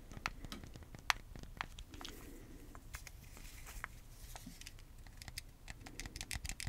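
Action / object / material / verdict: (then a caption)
tap / plastic game controller / plastic / none. A small, hollow white hard plastic Wii remote with a wrist strap is held in both hands and tapped with the fingertips along its body. The result is a quiet run of irregular, sharp, bright plastic clicks and ticks, mixed with soft scratchy rustling in between.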